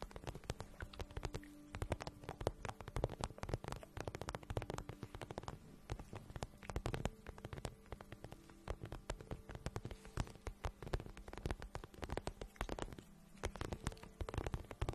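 Long nails tap and rub along the side of an empty, glossy pink patent vinyl boot held in the hands. Quiet, dense, rapid ticks and soft crackling scratches continue throughout, with most of the energy low and only a little brightness on top. A faint steady tone sits underneath.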